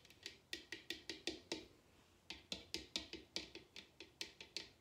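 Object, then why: Bamboo bowl. Long red nails tap and scratch the outer bottom of a large, hollow bamboo bowl turned upside down. About 20 quick, bright taps sound, each with a slight hollow body and very short ring, with a brief pause partway through.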